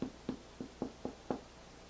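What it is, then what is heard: Hollow-sounding, fully baked bread loaf. The bottom of a freshly baked artisan bread loaf with a hard, very crispy crust is tapped six times as a doneness test. Each tap is a short, dull, hollow knock centered low around 250 Hz that dies away almost instantly. The hollow sound shows the loaf is completely baked.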